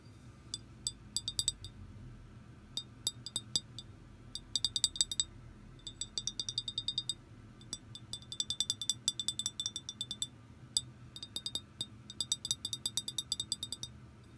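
Long green-painted nails tap and click on the hollow body of an empty clear glass liquor bottle with a paper label, held on its side. Quick bursts of short, bright glassy clinks ring around 3.7 kHz and die away almost instantly, separated by brief pauses over a quiet low hum.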